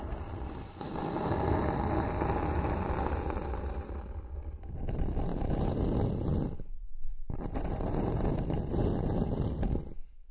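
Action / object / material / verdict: scrape / flat bamboo board scratched with nails / bamboo / none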